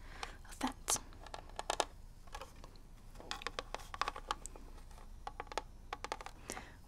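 Long red nails tap and scratch across the ridged grip and label of a gold, hollow plastic Legend of Zelda NES cartridge. Quick, dry clicks and scrapes come in irregular bursts, with short pauses between them. Each sound is bright and brief, with no ring over a quiet background.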